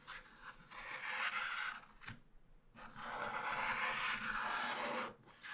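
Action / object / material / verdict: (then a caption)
scrape / wax-coated scratch-art paper scratched with a wooden stylus / waxed paper / none. A wooden stylus stick scratches across a black wax-coated scratch-art card page in a small spiral-bound book lying flat on a table, revealing the colourful rooster picture underneath. Two long, dry rasping strokes are heard, a shorter one and then a longer one, separated by a brief pause. The scraping hiss is concentrated in the mid to high range with almost no low end.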